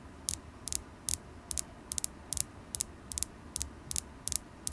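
A solid polished carnelian stone point, held in the fingers, is tapped with long acrylic nails. Short, bright, clicky taps come at an uneven pace, often in quick pairs, and die away almost instantly over a faint steady hiss.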